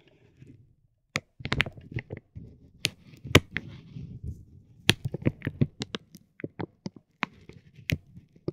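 A metal ball-tipped stick taps a soft, clear vinyl plastic bag wrapped around a tape roll, close up. Irregular sharp, dry taps with bright crinkling snaps ring out over a soft, low rustle of the film. Each hit dies away almost instantly.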